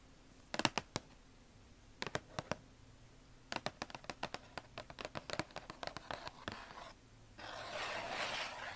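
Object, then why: Closed cardboard shoebox tapped and scratched with fingernails. Long acrylic nails and fingertips tap and scratch across the closed lid of a hollow red Nike cardboard shoebox, producing 26 short, dry, sharp clicks in spaced bursts that ring out almost instantly. The clip ends with a steady, bright scratching hiss drawn across the top of the lid.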